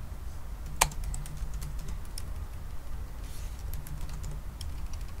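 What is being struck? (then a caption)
Laptop keyboard with plastic keys. Fingertips type slowly on a silver aluminum laptop with black plastic keys, tapping individual keys. Short, bright clicks with almost no ring stand out over a steady low background hum, with one sharper tap near the start.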